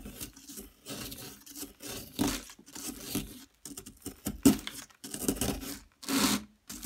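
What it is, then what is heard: Plaster block being scraped and chipped. A metal pick chips and scrapes at a yellow plaster excavation block, breaking chunks off. Short bursts of gritty scraping and crumbly crackling come in uneven strokes, separated by brief silent pauses.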